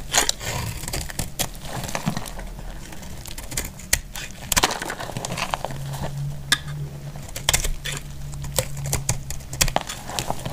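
A utility knife blade shaves crisp flakes off a solid bar of dry yellow soap held in the hand. The clip is a steady run of sharp, dry crackles and snapping clicks, with bright edges and short bursts of scraping. A low steady hum sits underneath through the middle to later part.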